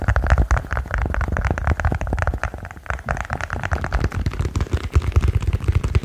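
A silicone pop-it push-bubble toy is tapped quickly and continuously, giving a dense run of short, dry, muffled taps. The sound is mostly a low thump with a faint bright click on each tap and very little ring.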